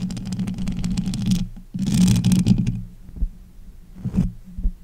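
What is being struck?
Metal mesh microphone grille.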